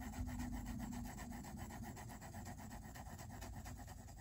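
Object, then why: Pencil on paper sketchbook page. A pink mechanical pencil makes rapid shading strokes on a white page of a spiral-bound sketchbook lying flat. The strokes make a steady, rhythmic back-and-forth scratching and rubbing over a low, dull rumble, staying at an even, quiet level throughout.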